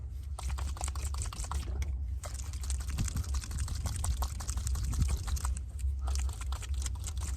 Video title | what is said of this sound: Fast detailing of a corgi die-cast Centurion MK3 | Shake it until you hear the BB.